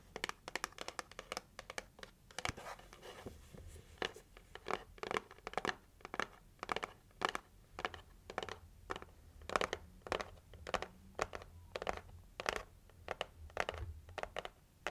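Long nails scratch and tap a pink printed heart-shaped cardboard gift box, ending on the lid. The result is a steady run of short, dry scratches and crisp taps with no ring. The hits are too dense to count reliably.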